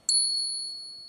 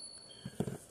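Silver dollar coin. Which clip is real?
The first.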